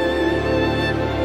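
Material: Nothing is struck.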